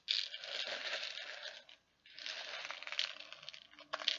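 Fingers dig into and stir many small plastic perler beads inside a clear plastic tub. The result is a dense, bright rattling and clicking that runs for nearly two seconds, stops briefly, then resumes with a few sharper clicks near the end.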